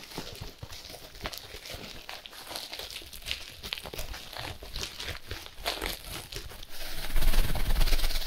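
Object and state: Plastic-wrapped compressed hay block.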